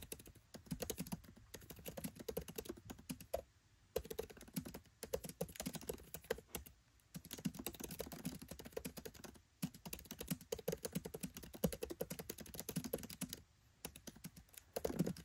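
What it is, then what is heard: Laptop keyboard typing. Fingertips type rapidly on a MacBook Pro 13 keyboard with black plastic keycaps set in an aluminium body. Dense bursts of short, soft clicking key taps come with a low thump on each key and brief pauses between runs.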